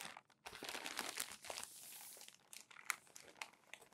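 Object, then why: Glossy magazine paper pages. Palms rub crumpled glossy magazine pages flat while fingers turn them, giving a dense, bright crinkling and crackling with a steadier smoothing rustle in the middle. Sharp, quick paper crackles and snaps close the clip, with little low end.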